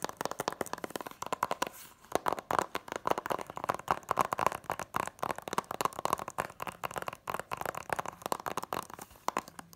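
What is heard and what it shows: An Incredibles DVD set in its cardboard slipcover is held in the hand while its front is tapped quickly with long nails and fingertips. The result is a rapid, irregular stream of dry, papery clicks and taps centered in the midrange near 1 kHz, each dying away instantly with no ring. A brief lull comes just before the two-second mark.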